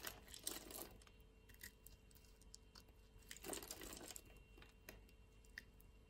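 A utility-knife blade cuts and scrapes pre-scored grid flakes off the surface of a solid purple lavender bar soap held in the palm of a hand with long nails. Quiet, dry crunching and scraping with many small, bright clicks, including two denser bursts of crackling near the start and middle.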